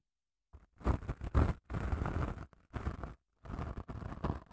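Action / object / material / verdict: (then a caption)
scrape / padded emery nail file / emery grit / none. Long nails scratch along the gritty face of a long grey padded emery nail file. Dry, broadband rasping comes in uneven bursts separated by short silent gaps, with a soft, low-heavy body and a bright hiss on top.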